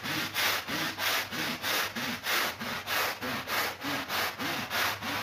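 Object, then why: Woven rug scrubbed with a stiff-bristled push broom. A push broom with stiff bristles scrubs back and forth across a flat, woven, ladybug-shaped rug that is soapy and wet on a marble floor. Steady, rhythmic rasping strokes come at about one every 0.6 seconds, each a bright, hissing swish with a low, wet, squelching undertone.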